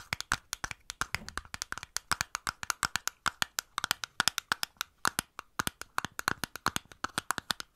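A small clear glass bottle with a green cap, held close to the mic, is tapped rapidly on its sides with long nails fitted with paper clips. About 56 sharp, dry, clicky taps fall in quick uneven bursts, each bright with a glassy tone near 1.5 kHz that dies away almost instantly.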